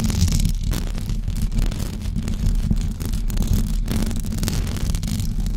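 Long blue acrylic nails on both hands scratch a white knitted fabric cover over a rounded microphone head. The result is a continuous, dense, low rumbling scratch with a faint fuzzy hiss, keeping a steady loudness throughout.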